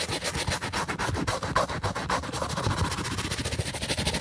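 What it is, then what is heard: White leather sneaker being scrubbed. A plastic toothbrush held in a gloved hand scrubs the upper and sole edge of a white leather sneaker. Quick back-and-forth strokes make a steady, dense scratchy bristle sound with a bright hiss on top and a soft low rub underneath.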